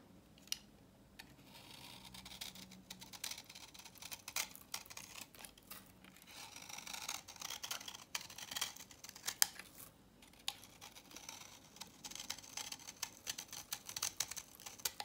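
A utility knife blade scrapes across the grooved face of a solid, dry vintage orange soap bar held in the hands, breaking off brittle chips. The result is a quiet, bright, crackly scraping with many sharp little clicks and snaps and almost no low end.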